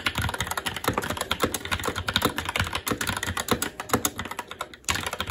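A SteelSeries Apex 7 TKL mechanical keyboard with Red switches, black plastic keycaps on a metal top plate and a hollow RGB-backlit case, resting on a desk, is typed on continuously with the fingertips of both hands. A rapid, steady stream of short, crisp clacks and thocks is heard, each keystroke dying away almost instantly. There is a brief lull near the end before the typing picks up again.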